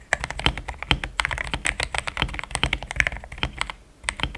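Fingertips type fast on a compact, pink-cased mechanical keyboard with thick cream XDA plastic keycaps, which sounds solid. A rapid run of short, crisp clacks comes through, with bright tops over a soft low thock. Each strike dies away almost instantly, and there is a brief lull just before the end.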